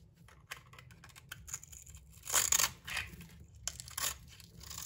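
A metal utility knife blade scrapes and shaves the bronze paint and purple glitter coating, and the soap beneath, off a solid hand-sized bar of soap held in one hand. Dry, bright scratching and shaving strokes crackle through the clip, building to a louder rasping cut near the middle before softer scrapes continue over a faint low hum.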